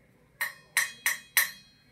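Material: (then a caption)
Ceramic. A coffee cup is flicked four times, each flick giving a bright, short ring centered near 1.9 kHz that dies away quickly. The ringing tone is the cup's own natural frequency.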